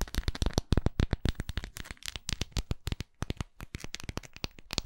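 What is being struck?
Wax pillar candle.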